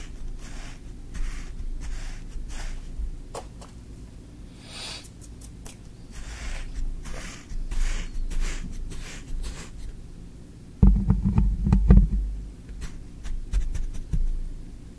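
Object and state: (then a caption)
Kinetic sand being poked. A thin wooden stick is repeatedly poked into green kinetic sand in a tray, making soft, grainy crunches and brief bright hissy bursts over a steady low rumble. Around the 11-second mark, a louder cluster of deeper thuds stands out before the pokes settle back to a quieter, uneven rhythm.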